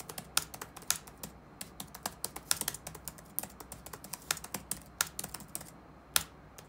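Fingertips tap on the black plastic keycaps of a dark laptop keyboard resting on a wooden desk. The result is a steady run of short, bright, crisp clicks that die away almost instantly, with a few louder strokes standing out and a faint low hum underneath.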